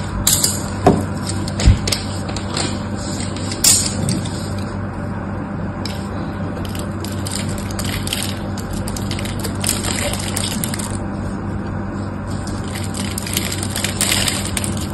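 A small metal knife blade scrapes and shaves flakes off the edge of a solid, dry, hand-sized pink bar of soap held in one hand with orange nails. The result is a steady, crisp, bright scraping texture, with a few sharper clicks near the start, over a constant low hum.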